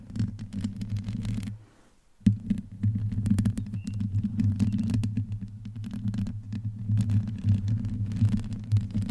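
Long painted nails on both hands scratch the rounded, hollow metal mesh grille of a black desktop USB microphone with no pop filter. The result is a dense, low, throbbing scratch-and-rumble that cuts to near silence for a moment just before the two-second mark, then resumes with a sharp burst and continues steadily to the end.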